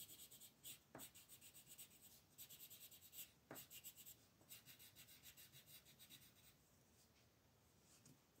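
A light blue wooden colored pencil shades back and forth over a thin white paper mandala sheet lying flat on a table. It makes soft, rapid, slightly irregular scratchy strokes with a bright, high, papery hiss. A few sharper ticks are heard where the pencil lands or changes direction, and the rubbing eases toward the end.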